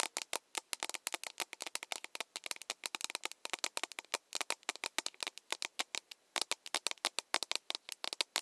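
An empty, hollow plastic mug with a handle is tapped rapidly with long nails, about 54 quick taps over eight seconds. Each tap is a sharp, bright click with almost no low end, dying away instantly, in a steady irregular patter.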